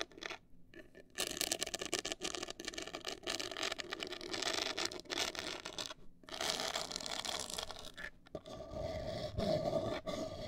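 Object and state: Cardboard box scratched with fingernails.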